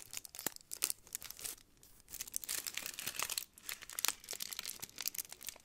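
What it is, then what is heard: Foil-wrapped chocolate figure being crinkled. Long nails scratch and crinkle the red foil wrapping of a hand-sized chocolate Santa figure held close to the microphone, possibly starting to unwrap it. Dense, bright crinkles and sharp scratchy ticks come in bursts, with two brief quieter lulls, and almost nothing in the low end.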